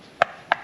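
A coconut is tapped twice on its top, giving two short, sharp knocks with a hollow, mid-pitched tone and almost no ring. The hollow sound is the cue used to tell a young coconut (buko, soft flesh, for juice) from an older coconut (niyog, hard flesh, for milk or cream), though which type this one is isn't known.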